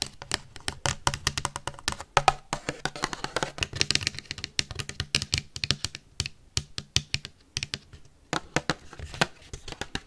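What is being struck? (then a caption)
Thin disposable paper plate tapped with metal paperclips. A thin, empty, white printed disposable paper plate is tapped and scratched rapidly with metal paperclips worn on the fingertips. Sharp, bright clicks come in fast, dense bursts, mixed with raspy scratching in between.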